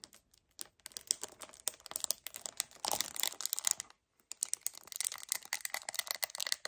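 Short painted nails grip hard and scratch across a hollow 1 L white paperboard kefir carton. Dense, bright crinkling and scratchy clicks come in quick, uneven bursts with a brief pause near the middle. The sound is dry and close, with no low end.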